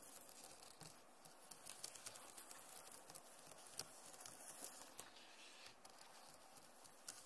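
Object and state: Plastic laptop keyboard.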